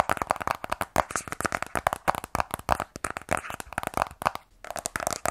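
A sealed black cardboard iPhone 12 Pro box, held in both hands, is tapped and scratched with fingernails on its top and sides. A rapid, uneven run of short, dry, hollow taps mixes with papery scratching, with a midrange knock and crisp bright edges. Each tap stops almost instantly, with no ring.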